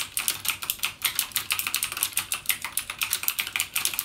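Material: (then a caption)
Plastic. Fingertips type rapidly on a backlit mechanical gaming keyboard with plastic keycaps and Cherry MX Blue switches. The result is a fast, steady stream of crisp, bright clicks with almost no low end, each dying away quickly.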